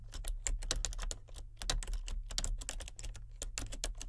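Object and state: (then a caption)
Plastic computer keyboard being typed on. Both hands with painted nails type on a full-size plastic keyboard with color-changing backlit keys. A rapid, uneven stream of crisp plastic key clicks with bright tops rises and falls in bursts over a steady low hum.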